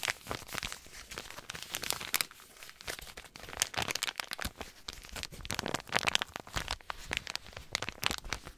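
A white paper compress pouch with blue print is crinkled and rubbed with fingertips. The result is a dense run of bright, dry crackles and crunches with almost no low end. The bursts surge and fade without stopping.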